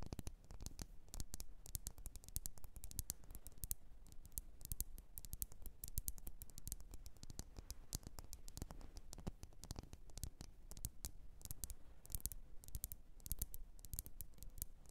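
Long nails tap rapidly on a lit, wax-filled red glass candle jar. The result is a dense, steady patter of short, dry clicks with bright ticks on top and a soft low thud beneath, each tap dying away almost instantly.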